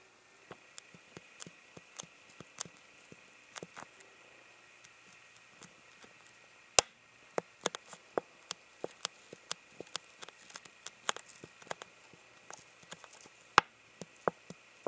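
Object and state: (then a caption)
Empty plastic water bottle tapped. A clear, hollow, empty plastic water bottle held near the camera is lightly tapped with fingertips in an irregular run of quiet, dry clicks. Each tap is short, crisp and bright with almost no ring, over a faint steady hiss. A couple of taps, near 7 and 13.5 seconds, stand out sharper and louder than the rest.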